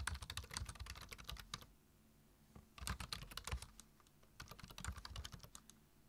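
Fingertips type on a black plastic computer keyboard, tapping the keys in three quick bursts separated by short pauses. Each keystroke gives a bright click over a soft low thump.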